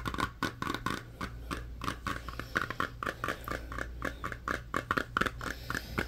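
Fingernails tap and scratch the printed lid and rim of a small, round, closed metal tin of Crazy Aaron's putty that appears filled. A rapid run of short, dry clicks and scrapes, centered around 1.3 kHz, dies away almost instantly over a steady low hum.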